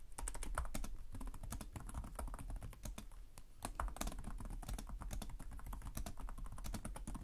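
Fingertips type continuously on the plastic keys of a black laptop keyboard. The result is a steady, rapid patter of short, dry clicks with a low thud under each keystroke and faint bright ticks on top.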